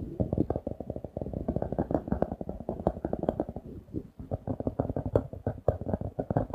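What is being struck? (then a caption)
Paper notebook with laminated card cover. A paper notebook with a glossy laminated card cover, held upright, is tapped and scratched with fingertips and nails. The result is a rapid, steady run of dull, muffled taps and soft scratches that stay low and die away almost at once, with little bright content.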